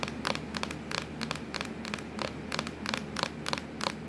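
Long acrylic nails tap and scratch on a hollow, black textured plastic laptop lid. Short, sharp clicks come in an irregular, fairly quick rhythm, with faint scratchy rustling between them over a low steady hum.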